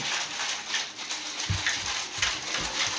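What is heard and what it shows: A child shakes an "Ice Cream Magic" ice cream maker filled with chocolate ice cream mix, producing a steady bright swishing and sloshing with a few low thumps as the contents move. The mix still sounds like water because it is liquid and not yet frozen.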